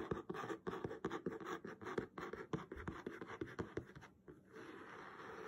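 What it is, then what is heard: Cloth-covered hardcover book. Fingertips and nails scratch and tap rapidly on the cover of a blue patterned cloth-covered hardcover book lying flat. The result is a dense run of short, dry taps over a rough scratchy texture. Near the end it settles into a quieter, steady rubbing hiss.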